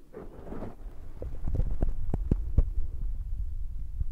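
Fingertips tap rapidly on top of the soft black foam windscreen of a Zoom recorder. A brief soft rustle opens the clip, then a quick, uneven run of deep, muffled thumps follows, all dull and boomy with almost no brightness. Each tap dies away at once.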